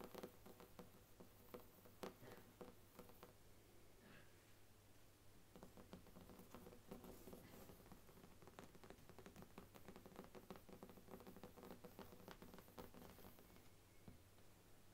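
Long nails tap and scratch across the brown faux leather cover of a large, thick, solid Bible with gilt page edges, lying flat on a wooden table. A quiet, dense patter of short, dry taps and soft scratches carries on throughout, over a steady low hum.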